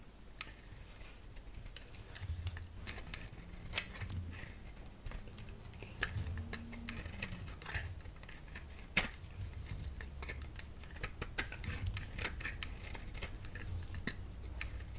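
A solid round bar of soap, held in the hand, is scraped and shaved with a utility knife blade. Quiet, crisp, bright scraping clicks and short shaving strokes come in an uneven run over a low, steady background rumble.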